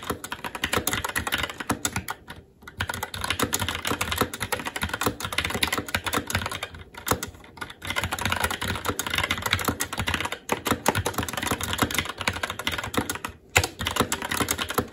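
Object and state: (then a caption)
Mechanical keyboard being typed on. Fingertips of both hands type continuously on a SteelSeries Apex 7 TKL mechanical keyboard with Red switches, black plastic keycaps on a metal plate, and a hollow RGB-backlit case resting on a desk. The result is a dense stream of short, bright plastic clacks with a low thock underneath, broken only by brief pauses.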